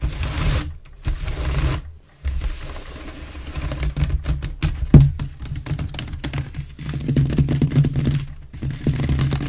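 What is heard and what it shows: Long nails scratch fast across the base and lower sides of an inverted, hollow, empty grey wicker waste bin. The result is a dense, rough scratching and rustling with a hollow, low body resonance, broken by brief near-silent pauses around one and two seconds.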